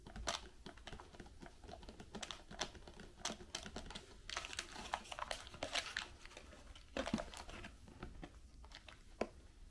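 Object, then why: Small cardboard candy box. A small white Raffaello cardboard box with candies inside is closed and tapped with long pink nails and fingertips. Quick, dry clicks and soft crinkly taps come in a steady stream, with a few sharper louder taps standing out over a faint low hum.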